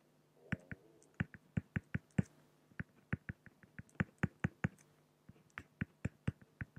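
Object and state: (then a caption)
Pen strokes on an acrylic sheet. A fine-tip pen held in the fingers strikes and scratches across a large, flat, solid clear acrylic (plexiglass) sheet on a white background while hatching a raven drawing. About 26 short, dry, sharp ticks come in irregular bursts with brief pauses and almost no ring. A faint steady low hum runs underneath.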